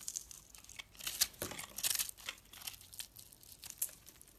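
A blade scrapes crumbly shavings off a solid, dry piece of orange-and-yellow striped soap held in the hand. The result is a run of bright, crisp, crackling scrapes with almost no low end, swelling into louder gritty strokes near the middle before settling into lighter scratches.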